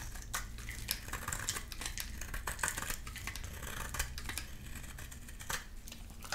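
A solid, dry amber bar of soap held in the hand is shaved and cut with a utility knife blade. Repeated bright scraping and slicing sounds come in quick bursts over a low, steady background rumble.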